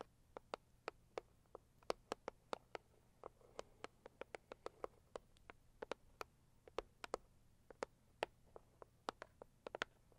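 Long acrylic nails on both hands tap quickly on a hollow, medium-sized pink floral Saviland cardboard gift box. About 38 short, dry clicks with bright tops land in an uneven, rapid patter over a quiet, steady low hum.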